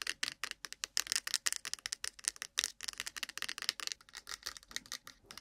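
Long pointed nails tap and scratch fast on a small, hollow white cardboard iPhone box with an Apple logo, resting on the mic. Dense, rapid dry clicks and scrapes with bright, crisp highs and almost no low end, each hit dying out instantly.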